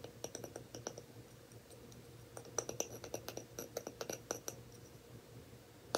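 A lid on a clear, not brown, glass jar is tapped and scratched with quick, light clicks. The taps are spread unevenly, with a faint steady tone near 500 Hz and short, bright ticks that die away almost at once.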